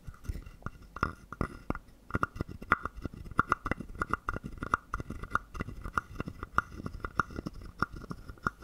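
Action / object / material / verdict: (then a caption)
scrape / carved wooden frog guiro / wood / none. A small hollow carved wooden frog guiro with a ridged back is held in the hand while a wooden stick scrapes along its ridges and taps its body. Dry, rapid clicks and short knocks with a hollow woody tone around 1.4 kHz die away almost instantly, and the louder taps recur at a steady pace over soft scraping.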